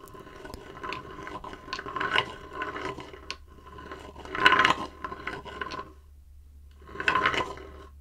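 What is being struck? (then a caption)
Shallow wooden bowl. Fingertips rub and scratch the outer wall of a shallow, empty, light-wood bowl about 20 cm across, held horizontally. Dry, irregular scraping and rasping comes in bursts, swelling louder around two, four and a half, and seven seconds. A faint hollow ring near 1 kHz sits over a steady low hum.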